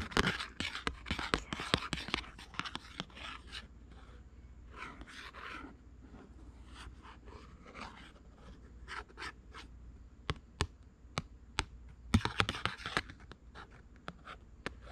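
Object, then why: Thin cardboard flash card. Long pink acrylic nails trace and scratch along the printed black frog outline on a small, thin, flat white cardboard flash card, held in one hand with other cards behind it. Dry, papery scratching comes in quick bursts, with softer rubbing strokes in between. Sharp, crisp nail clicks pop out of the quiet near the end.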